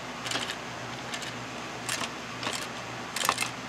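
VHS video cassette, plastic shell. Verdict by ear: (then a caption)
Loose. A "One Christmas" VHS video cassette with a plastic shell is shaken, and a loose part inside rattles in five short, bright bursts of clicking. The rattles sit over a faint, steady low hum.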